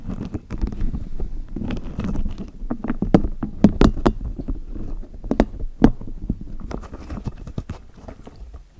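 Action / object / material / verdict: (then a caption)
scrape / rubber spiky massage ball / rubber / none. A small neon-green spiky rubber massage ball is held close in both hands while long natural nails scratch and tap across its spikes. The result is a steady, low, muffled patter of soft rubbery taps and scrapes, with a few sharper clicks that stop dead.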